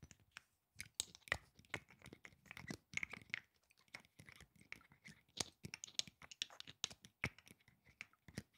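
A small rectangular glass perfume bottle with yellow liquid and a black cap is held in one hand and tapped and scratched with the fingertips and nails of the other. The result is a fast, uneven series of sharp, bright clicks and light scratching with very short ring, some taps leaving a faint glassy ping around 2 kHz.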